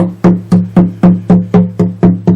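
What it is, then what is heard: Acoustic guitar with a loose back brace. The back of an acoustic guitar is tapped nine times to find a loose back brace, with foam under the strings to keep them from rattling. Each tap gives a hollow, woody knock with a low resonance around 180 Hz that fades quickly. A slight buzz from the loose brace can be heard.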